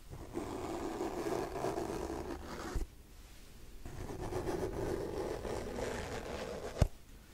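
Fingernails scratch slowly along the glossy cover of a hardcover paper book, making a soft, low, papery rasp in two long passes. Each pass ends with a sharp tap on the cover.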